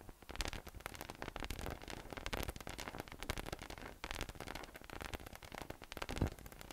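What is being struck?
Inflatable PVC massage ball with nubs.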